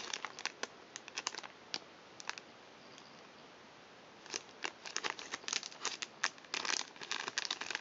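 An empty, flat, hand-sized blue plastic/foil-lined Thinsations cookie pouch is held in both hands and crinkled and crumpled by fingertips with long nails. Quick, bright, crisp crackles come in scattered bursts, then fall to a near-quiet hiss for about a second and a half. The crinkling then returns denser and louder toward the end.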